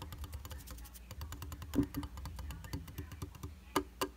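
Fingertips and nails tap quickly in a fast drumming pattern on a round glass tabletop makeup mirror with a white plastic frame and a solid, flat glass surface. The result is a dense, uneven patter of short, dry clicks with bright tips over a soft low thud, each tap dying away almost instantly. A few harder taps stand out, with two sharp ones near the end.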